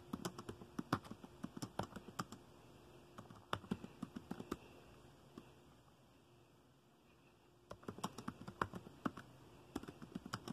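Fingertips type on the keys of a dark plastic laptop keyboard, giving dense bursts of short, dry clicks and taps with a bright edge. The typing comes in runs with brief pauses, and there is a quieter gap of soft background noise near the middle before it picks back up.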